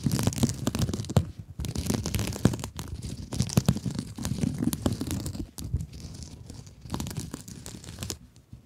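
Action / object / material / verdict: scrape / mesh-covered scrub sponge / plastic mesh / none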